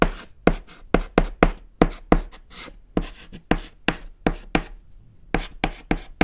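A white chalk stick writes on a small, flat, solid black chalkboard panel, making sixteen short, separate scratching strokes. Each stroke is a quick, dry, bright scrape that cuts off sharply, with brief quiet gaps and a faint low rumble between them.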